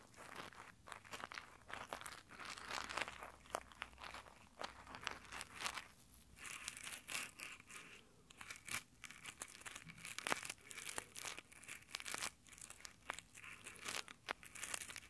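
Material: Nylon.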